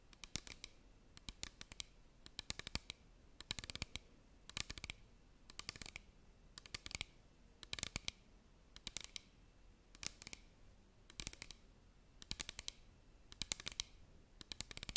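Long nails tap and click along the sides of a small clear plastic bottle, partly filled with liquid, held upright close to the microphone. Quick clusters of quiet, bright, crisp clicks come in bursts about every second across the clip, each dying away instantly with no ring.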